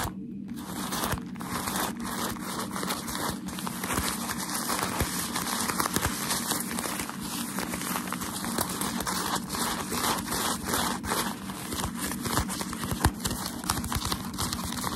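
Crumpled white tissue shoe-packaging paper is held in the hands while fingertips rub and crinkle it and nails scratch across it. A dense, steady stream of bright crinkling, crackling and scratchy rustling continues without pause for the whole clip.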